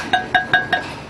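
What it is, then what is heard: Hard, well-fired bamboo salt column. A bamboo salt column, hard as stone after its eighth roasting in the kiln, is knocked four times. Each knock gives a bright, ringing, metallic tone with a short ring, showing the column is firm and well fired.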